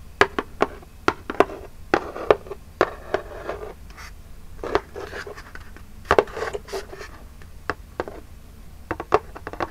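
Long jeweled nails tap and scratch the printed front of a small, flat, hollow Birchbox cardboard box held upright. Sharp, dry, hollow taps with a low-mid body and almost no ring come in an irregular string, mixed with brief papery scratching between them.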